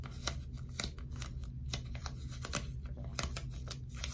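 Long stiletto nails repeatedly tap and scratch a small piece of dark blue sticky tape, likely folded or stuck into a flat strip and held upright in one hand in front of a binaural mic. The result is a run of sharp, bright, crackly clicks and sticky rasps over a steady low hum.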